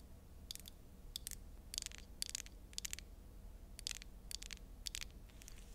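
Long acrylic nails tap and scratch a small rectangular glass Dior foundation bottle with a black cap, filled with liquid foundation and held in the hands. Quiet, crisp, bright clicks and short scratchy bursts come in irregular clusters over a faint, steady low hum. Each tap dies away almost instantly.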